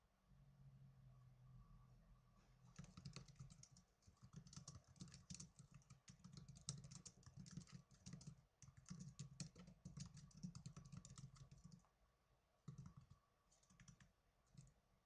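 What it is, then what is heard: Plastic netbook keyboard being typed on. Fingertips with blue nails type on the plastic keys of a small black plastic netbook, producing rapid, bright, clattering clicks over a steady low hum. The typing begins a few seconds in, runs in quick bursts, pauses near the end, then returns with a few short flurries.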